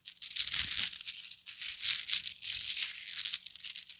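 A necklace of large round red plastic beads, likely hollow, is dangled, then shaken and rubbed between cupped palms and fingertips. It makes a bright, dry clicking rattle that comes in uneven bursts, with a faint low hum underneath.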